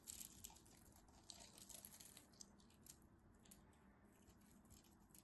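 A metal craft knife scrapes powdery flakes off the face of a solid cream soap bar. The sound is a quiet, steady run of dry, crisp scratching and crumbling, bright and hissy at the top with faint soft grit underneath, and small sharp ticks where the blade catches.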